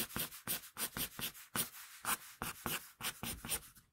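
A wooden pencil draws quick, scratchy hair strokes across a flat sheet of drawing paper. Each stroke is a short, dry, bright rasp that stops almost at once, repeated in a rapid, uneven series with brief quiet gaps between them.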